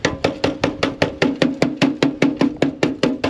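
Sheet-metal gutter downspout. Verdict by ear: Hollow.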